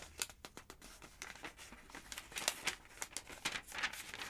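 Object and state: Paper phonebook pages.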